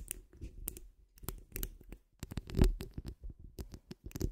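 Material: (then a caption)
Steel mesh. Long acrylic nails and fingertips of both hands scratch and rub across the rounded, hollow steel wire-mesh grille of a large condenser microphone. The result is a quiet, irregular stream of scratchy strokes with a deep, boomy rumble underneath, sharp bright crackles at the onsets, and a louder rub near the middle.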